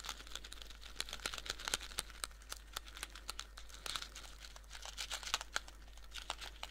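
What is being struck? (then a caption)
Small cardboard box. A small blue cardboard Skittles candy box, held in both hands, is rapidly tapped with fingernails on its flat faces. Dozens of quick, dry, bright clicks and light crinkly taps follow one another with almost no ring, over a faint steady low hum.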